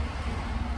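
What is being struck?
Nothing is struck.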